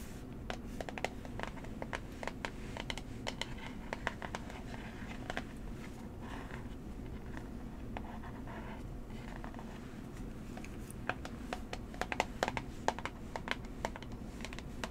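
Long manicured nails tap and scratch a small, hollow, rectangular brown cardboard box for Coola tan serum held in one hand. Quick, dry, short clicks and papery scratching scatter throughout, with a steady low hum underneath.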